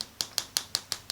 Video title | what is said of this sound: ACRYLIC NAILS - Reverse smile line ombre french | when I tap on it you can hear it has a real plasticky Tap that's dry